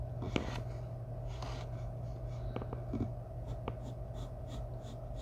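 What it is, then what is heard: Pencil on drawing paper. A graphite pencil scratches a thin sheet of white drawing paper taped flat on a wooden table, making short shading strokes near the head of a portrait. Soft, brief scratchy strokes come and go over a steady low hum, each fading almost at once.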